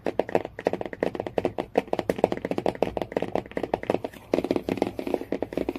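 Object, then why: Hardcover book cover. Fingernails tap and scratch quickly on the cover and edge of a hardcover Jungle Book storybook lying flat. The result is a dense run of short, dry, mid-pitched clicks with light scratchy texture and almost no ring.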